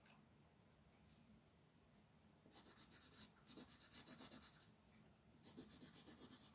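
A green wooden colored pencil, held in the fingers, rubs and scratches its tip across a flat white paper sheet printed with a mandala. The sheet lies on a table while the other hand rests on it. After a quiet stretch with a faint low hum, the pencil makes bursts of short, fast strokes: bright, dry, papery scratching in rapid rhythmic pulses with a brief pause between bursts.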